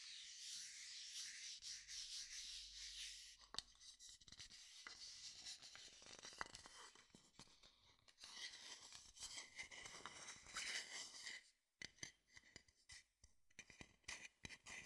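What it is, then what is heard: Wooden bowl rubbed and tapped. An empty, hollow wooden bowl is held close to the left side of the microphone while fingertips rub its outer surface and a wooden stick taps on it. Soft, bright, hissy rubbing fills the first few seconds, then gives way to quick, dry, irregular taps and scratchy strokes. The taps are mostly short and high-pitched with little ring.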